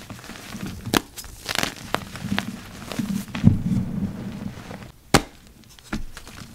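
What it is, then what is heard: Dry gym chalk crumbling under pressure. Yellow rubber-gloved fingers press into a heap of dry, purple-dyed gym chalk, packed powder and lumps, breaking it apart. Sharp, dry cracks and crunches stand out over a soft, low crumbling and gritty crinkling as the chalk crushes and falls apart.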